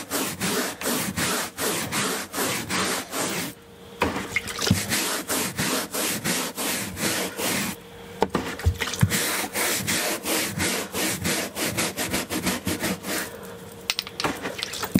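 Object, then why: Woven carpet runner and bristle brush. A hand-held bristle scrubbing brush is rubbed vigorously back and forth over a beige woven carpet runner, a large flat textile surface. It makes rapid, slightly uneven bursts of dry, bright, scratchy swishes, about three dozen strokes. Brief quiet pauses near 4 and 8 seconds let a faint steady hum through.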